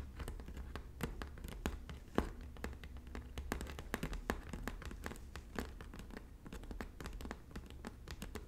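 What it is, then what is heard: Woven straw bag tapped and scratched. Both hands with long natural nails tap and scratch the braided straw on the flat front panel of a hollow red woven straw bag. Quick, dry clicking taps with very short decay mix with soft scratching over a steady low hum, making a busy, close, quiet texture.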